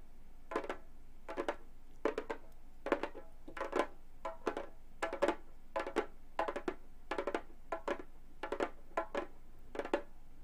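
Long gold metal claws tap the synthetic head of a hollow frame drum with both hands, in quick clustered bursts of light clicks and taps. Each tap is short and dry, with a tonal body around 570 Hz and bright clicky edges, and it dies away almost at once.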